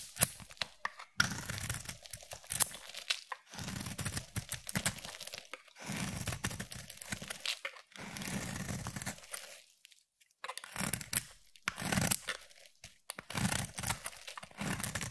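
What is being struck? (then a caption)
Bar of soap. A utility knife blade shaves thin strands off a palm-sized solid bar of soap with a pearly pink coating and yellow interior. Each stroke makes a dry, crunchy scraping rasp, bright at the top with a soft low body. The strokes come in bursts of a second or two, separated by short silent pauses.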